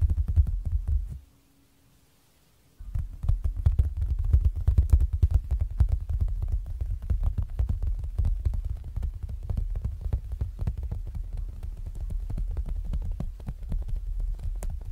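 Fingertips and short nails from both hands tap rapidly on the clear plastic cover of a zippered binder lying flat. The taps are dull and low, with a brief silent pause near the start before the dense, uneven tapping resumes.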